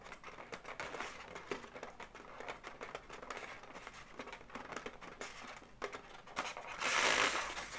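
Long natural nails tap and scratch the legs and body of a magenta balloon dog made of hollow, air-filled inflated latex segments. The result is a steady run of quick, bright taps and crinkly, rubbery scratches, swelling near the end into a louder, hissing squeak against the latex.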